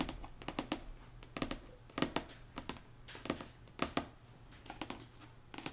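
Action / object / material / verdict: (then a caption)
tap / paperback book with card cover / paper / none. Long nails tap and scratch the card cover of a paperback copy of *One Dark Window* lying flat. Sharp, dry clicks come in an irregular series, with soft scratching between them. The sound is close and quiet, with a bright, papery edge.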